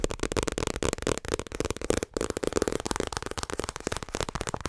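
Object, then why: Paperback book with paper cover. A small paperback My Hero Academia manga volume, held close to the microphone, is tapped and rubbed quickly with fingertips and nails on its paper cover and edges. The result is a dense run of short, dry papery taps and scratches with a mid-range body and a bright crinkly edge, with only a brief pause near the middle.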